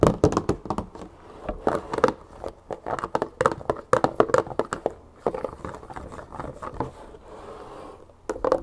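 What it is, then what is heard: Plastic jug of olive oil. Long fingernails tap quickly and scratch along the side and paper labels of a large 3 L clear plastic jug, mostly full of olive oil. Rapid, sharp clicky taps with a short, dull, hollow body come in uneven bursts, mixed with softer crinkly scratching between them.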